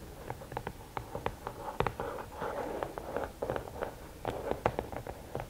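Long painted nails tap rapidly on the top of a closed, hollow red and black rigid cardboard gift box. The result is a quick, irregular run of short, dry clicks with a hollow, papery mid-range body and almost no ring, over a faint low rumble.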